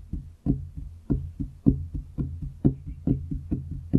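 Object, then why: Wooden desktop. Both hands knock and tap their fingertips on a large, solid wooden desktop close to the microphone. About fourteen dull, low knocks sound in a steady, uneven rhythm, each short with a soft resonant body and almost no high end.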